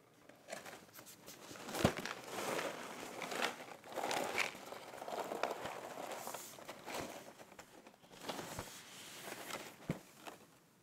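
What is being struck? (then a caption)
Cardboard cereal box. A closed, apparently full rectangular cardboard box of rice puffs, about 30 cm long, lying on a checked cloth is handled and then tapped with fingertips and nails across its front face. Dry crinkling and rustling mix with short, sharp taps that die away almost instantly, with a papery, midrange-to-bright tone and little low end.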